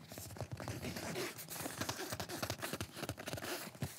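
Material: Nylon fabric.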